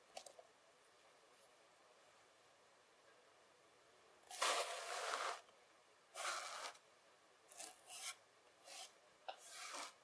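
A pile of loose kinetic sand on a table is raked and rubbed flat with fingertips and palms. After a few faint ticks and a quiet stretch, five separate soft, grainy rasping strokes are heard, the first the longest, each bright and hissy with no low end.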